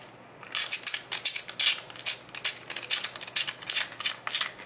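Fingertips twist and tap the yellow plastic cap of a small brown plastic Nature Made Iron pill bottle held in both hands. After a brief quiet moment, a rapid, irregular run of bright, crisp plastic clicks and scratchy scrapes follows, each one dying away almost instantly.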